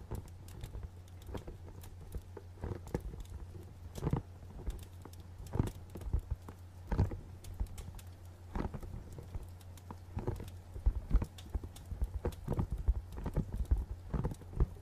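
Fingernails tap on a small, hollow, dark printed cardboard box with a barcode label, making quick, light, dry clicks. The taps come in irregular bursts with almost no ring. A steady low hum runs underneath throughout.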